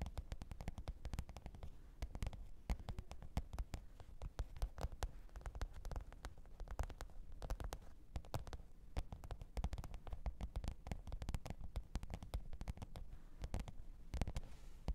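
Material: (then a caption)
Faux leather. Long pointed nails tap and scratch the top of a black, textured faux-leather hard-shell microphone case with a zipper, lying flat on fur. A quiet, steady stream of rapid, dry clicks and taps continues throughout, mostly low and dull with brief, bright transient edges and almost no ring.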